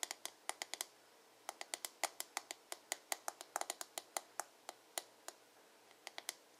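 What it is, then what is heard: Plastic hairbrush back. Fingertips and nails tap and scratch quickly on the glossy blue plastic back of a hollow paddle hairbrush. About 30 sharp, bright clicks come in quick bursts with a brief pause after the first second, each dying away almost at once over a faint, quiet background.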